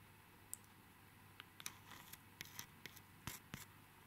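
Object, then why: Plastic sticker pack with card header. A small, flat pack of Hello Kitty sticker flakes in a clear plastic sleeve with a red printed card header is held in both hands while fingertips and nails scratch and crinkle the plastic front. About ten quiet, bright, crisp ticks and crackles come at an uneven pace over a soft, steady hiss.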